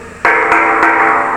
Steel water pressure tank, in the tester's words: Ang normal na tunog ng balon ganito. Walang laman. Hangin ng laman yan.